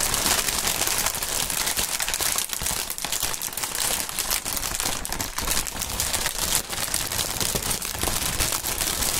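A large strip of clear polyethylene inflated air pillow packaging is crinkled, twisted and squeezed by hands and fingertips. The result is a steady, bright, dense crackling and crinkling that carries on with no pauses.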